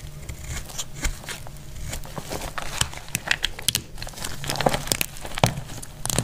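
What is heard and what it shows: A solid, dry red soap bar held in the hand is shaved with a metal blade, peeling off curls. Crisp, crinkly scraping and crackling come in irregular bursts, with bright snapping ticks over a steady low rumble.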